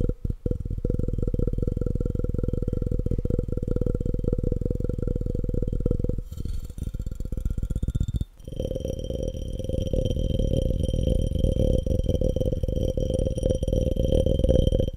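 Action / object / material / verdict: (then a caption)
tap / glass cup / glass / none. A clear, empty, hollow glass cup is held upside down close to the mic while fingertips and nails tap rapidly on its walls and base. The result is a fast, continuous stream of dull, low-heavy taps, with a brief lull near the middle. After the lull the tapping returns with a faint, bright glassy ring over it.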